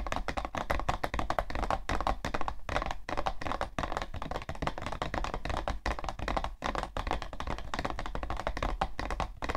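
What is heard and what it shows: Long nails tap rapidly and continuously on the side panel of a hollow, printed cardboard tissue box. Each tap is a short, dry knock with a hollow low thump and a mid-range tone, dying away almost at once. The tapping keeps a steady, busy rhythm throughout.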